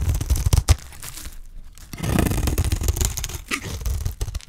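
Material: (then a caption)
Soap. A solid, dry green soap bar held in the hand has its surface scraped and cut with a utility knife blade. Rough, crunchy scraping and tearing strokes carry heavy low-end thumps, with a quiet pause in the middle before a longer, denser run of scraping.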